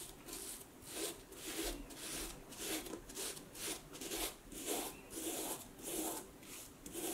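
A dark knit cloth or sock rubs the scaly vamp of a hollow, empty vintage snakeskin leather cowboy boot standing on a wooden table, while one hand steadies the shaft. Soft, bright scratchy rubbing strokes repeat at a loose, uneven pace, each with a faint low hollow body beneath.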